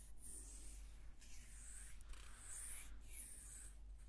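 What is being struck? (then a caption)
Small carved wooden hair comb. A small, solid carved wooden hair comb is held up and slowly scratched along its teeth and surface with long red-painted fingernails. The sound is a quiet, continuous soft scratching, with bright, hissy strokes that rise and fall in slow sweeps over a steady low hum.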